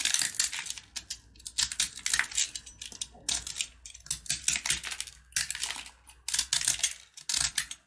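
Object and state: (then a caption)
Sugar-coated peanut candy bar. A box-cutter blade carves and scratches chunks off a solid, hand-held red and white sugar-coated peanut brittle bar. Bursts of bright, crisp scraping and crackling come in quick clusters, separated by brief quiet gaps, with each tick dying away almost instantly.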